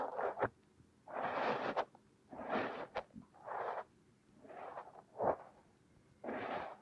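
A thin metal pick scrapes and digs through crumbly purple kinetic sand covering a silicone nose. Irregular bursts of gritty, hissing scraping centered in the midrange and reaching bright are separated by short quiet gaps. A few brief sharp clicks appear between strokes.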